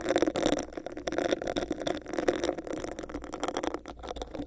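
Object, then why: Textured clear plastic cup. Long nails tap and scratch a hollow, clear, bumpy textured plastic cup placed over the microphone. The result is a dense, continuous run of quick clicks and scratchy rasps with a hollow, boxy midrange resonance and bright, crisp edges.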